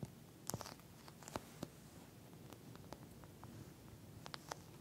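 Long nails on both hands scratch and tap across a pink, flat eye mask with a clear plastic shell filled with small gel beads. Quiet, sharp clicks and bright, crisp scratches stand out against a soft, low rumbling background, each tap dying away almost instantly.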